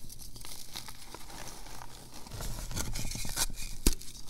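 Small solid chunks of reformed purple gym chalk (magnesium carbonate) with glitter are held in both palms over a bed of loose chalk powder, then crumbled and rubbed between the fingers into powder. Soft, dry crunching and gritty crinkling with bright, scratchy texture grows denser and louder in the second half. A sharp crisp snap stands out near the end.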